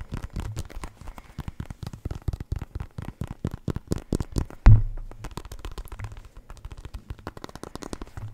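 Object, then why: Synthetic leather soccer ball. A full-size black and white synthetic leather soccer ball, hollow and inflated, is tapped with fingertips and nails and turned in the hands. Quick, dull, hollow taps with a low boom come in a steady patter, with light scratchy clicks in between. One heavier thump lands just before the five-second mark.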